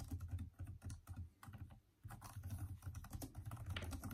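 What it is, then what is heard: Plastic laptop keyboard, fast typing. Both hands type fast with their fingertips on the hollow keys of a backlit plastic Microsoft Surface laptop keyboard, making dense, quick key taps. The clicks sound soft and low-pitched with a muted, thumpy body, and there is a brief lull just before the two-second mark before the rapid typing resumes.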